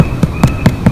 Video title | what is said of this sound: Garden to table - Creamy Potatoes soup and Homemade bread | when we tap it you can hear that hollow sound